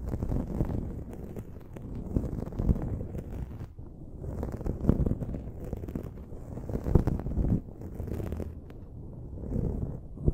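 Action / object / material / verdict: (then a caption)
scrape / foam microphone windscreen / foam / none. Long acrylic nails scratch and rub a dark foam windscreen on a silver USB microphone. The result is a continuous, muffled, deep rumbling scratch, with occasional louder swells and rustling bursts over about ten seconds and almost no bright content.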